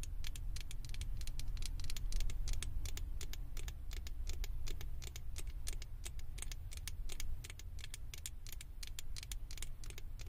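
Long acrylic nails scratch and tap on the ears and top of a small, hollow, blue plastic Stitch head fitted on a microphone. The result is a fast, uneven stream of sharp, bright plastic clicks and scratches over a steady low rumble.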